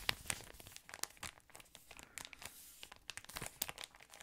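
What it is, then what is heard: Thin plastic wrapper being crinkled. A yellow patterned thin plastic ice cream wrapper is crinkled and squeezed with fingers. It gives a quiet, dense run of sharp, bright crackles and snaps with almost no low end. Each crackle stops instantly without ringing.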